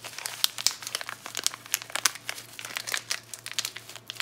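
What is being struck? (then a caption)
Plastic foil soap wrapper. Fingers with long nails crinkle and tear open the yellow Palmolive plastic foil wrapper on a bar of soap. Dense, bright crinkling comes in many sharp, quick crackles throughout, with a faint low hum underneath.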